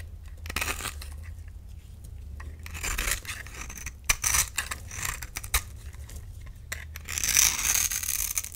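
A hand-sized solid bar of lime green soap, held in the palm, is scraped and carved with a metal utility knife blade, and shavings fall off. Bright, crisp scraping and tearing strokes come in bursts, with sharp clicks and faint clinks, over a low steady hum.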